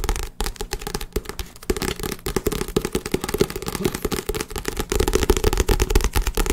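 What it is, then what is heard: Book. A book belonging to the tapper's girlfriend is tapped quickly and continuously in a dense, rapid series of short, dull knocks. Each knock is thumpy and low-weighted with a papery mid tone and dies away almost instantly. The tapping gets somewhat louder and heavier toward the end.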